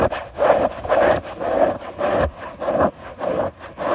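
Long natural fingernails of one hand scratch a soft, thin white fabric sheet spread flat on a bed. Repeated back-and-forth rasping strokes come at a steady pace, each a dry, papery midrange scratch that swells and fades. The bursts are separated by brief quieter gaps.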